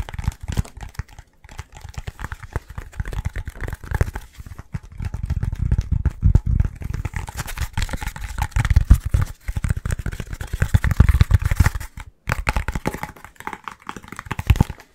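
A short, thick, hollow yellow foam tube, a cut segment of pool noodle held in both hands, is tapped and scratched quickly with the fingertips and nails. The result is a dense, fast stream of dull, low-heavy taps and crinkly scratching with almost no ring. Brief pauses break it up around 1.3, 4.5, 9.4 and 12.2 seconds.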